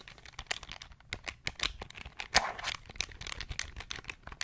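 A small beige plastic pocket calculator is held in the hands while its buttons are pressed quickly with the fingertips. The result is a rapid, uneven string of bright, clicky plastic taps with very short decay, one louder click standing out midway.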